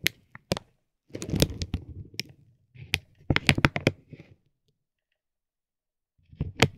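A metal ball-tipped stick taps and rubs a soft, clear vinyl plastic bag stretched over a tape roll. Sharp, bright ticks alternate with bursts of dense crinkling in short clusters. A quiet pause follows before a final flurry of crinkles and taps.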